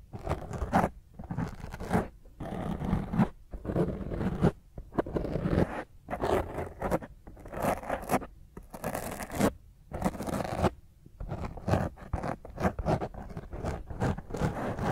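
Fingernails intensely scratch and grip a black foam microphone windscreen. The result is irregular bursts of rough, crackly scraping with a strong low rumble, separated by brief quiet gaps.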